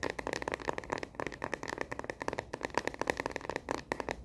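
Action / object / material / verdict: tap / plastic phone case on a smartphone / plastic / none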